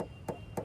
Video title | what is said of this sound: Sold out 💐 | గోరుతోని ఇట్లా కొట్టినప్పుడు పెయింట్ లప్పం పెట్టి వేసిన దానికి షోరూమ్ నుంచి వచ్చిన దానికి వాయిస్లో, అంటే మన చెవులు వినేటప్పుడు శబ్దంలో కొంత వేరియంట్ ఉంటుంది